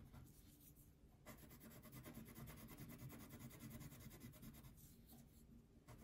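A red-pink wax crayon is rubbed in quick back-and-forth strokes across a thin paper coloring sheet lying on a table. The result is a soft, steady, rhythmic scratching with a low, muffled body and faint bright grit. It is briefly quieter near the start and end of the clip.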